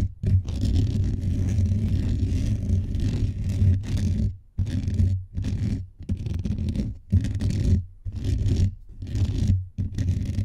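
Fingertips and nails of both hands scratch quickly and aggressively across the hollow metal mesh head of a blue microphone. The result is a dense, low, rumbling scrape centered near 94 Hz, coming in loud bursts separated by brief near-silent gaps, with almost no high content.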